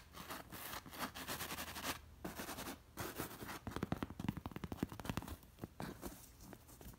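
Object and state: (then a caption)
Cowhide pillow with leather straps. Long nails scratch across a stuffed cowhide pillow covered in short-haired hide and criss-crossed with black leather lacing, catching both the hair and the straps. Soft, dry rasping strokes come in bursts, then quicken into a run of short, crisp scratches in the middle before easing back to slower brushing.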